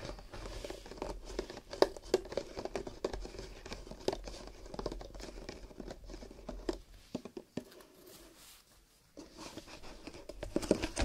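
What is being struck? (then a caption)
Stack of nested paper cups. Fingertips tap and rub the rolled rims and walls of a row of empty paper or cardboard cups, nested loosely into a long, hollow horizontal stack held on a table. The result is a quick, irregular patter of soft, hollow, papery taps mixed with crinkly rubbing. The sound goes quiet for about a second near the 8–9 second mark, then the tapping picks up again.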